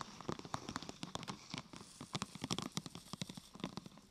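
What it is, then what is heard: Thin plastic sheet. Long nails tap on a thin, glossy purple plastic sheet curved into a hollow half-tube, first on the top and then on the side. It makes a rapid, uneven series of crisp plastic clicks with a hollow low thump under bright ticks. Each tap dies away almost instantly.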